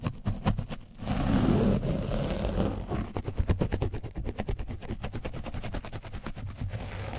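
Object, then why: Foam microphone windscreen coated with dried paint. A foam paint brush is rubbed aggressively over an orange foam microphone windscreen coated with dried paint, giving a dense, low, rumbling scratch. A steady smear of friction opens into a run of rapid, uneven brushing strokes that continue to the end.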